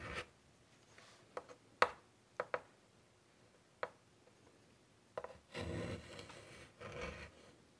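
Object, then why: Chalk stick on a wood-framed chalkboard. A white chalk stick held in the fingers draws butterfly outlines across the black surface of a large, flat wooden-framed chalkboard. Eight short, sharp chalk taps and ticks are followed by two longer, rasping scratchy strokes. The sound is dry and mid-pitched.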